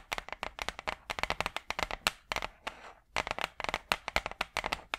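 Long purple acrylic nails tap rapidly on a large, flat, brown hardboard clipboard, a thin solid board held upright, giving a quick string of crisp, dry, bright clicks with very short ring. Partway through, the tapping pauses for a brief soft scratching sweep across the board, then the fast tapping resumes.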